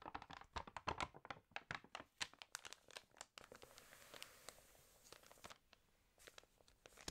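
A water-damaged glossy paper fashion magazine lies open as its pages are turned and rubbed with the fingers. Dense, crisp crinkling and tearing-like crackles come in rapid bursts, giving way midway to a softer, steady rustling hiss with scattered sharp crackles.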